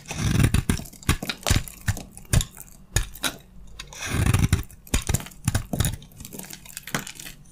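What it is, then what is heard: Dry soap bar scraped with a blade. A utility knife blade scrapes shavings off a solid, hand-sized beige bar of dry soap with gold edges. A rapid series of short, dry, crunchy scraping strokes is heard, each a brief burst with a low, thudding body and a raspy high edge that stops almost at once. Two denser, rougher passes stand out near the start and the middle.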